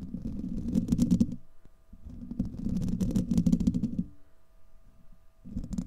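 Fingernails of both hands scratch across a hollow, domed steel wire-mesh microphone grille, making dense, low rumbling scrapes with quick bright ticks on top. The scratching comes in three bursts separated by quieter pauses, while a faint steady hum sits underneath.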